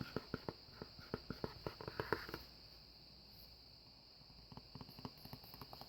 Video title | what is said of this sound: ~^~ ASMR Unboxing a Speaker and LOTS of Tapping! ~^~ | it doesn't have that harsher plasticky sound because it's attached to the cardboard